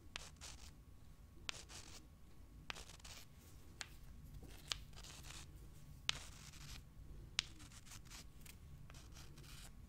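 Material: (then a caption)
Limestone. Long dark-painted nails scratch and rub two small, solid, pale limestone rocks held in both hands, and the rocks are rubbed against each other. Bright, dry scraping bursts come in loose, uneven strokes over a soft low rumble. Eight sharp little clicks stand out along the way.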